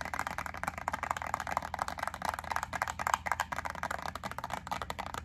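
Long acrylic nails tap rapidly on a small clear plastic clamshell pack of white wax melt cubes as it is turned from the label side to the wax side. The result is a dense run of short, dry plastic clicks with almost no ring, centered in the midrange around 1 kHz, with little deep bass or bright high end.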